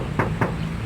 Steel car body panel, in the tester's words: kalau suaranya nyaring itu artinya masih orsinil belum pernah kena dempul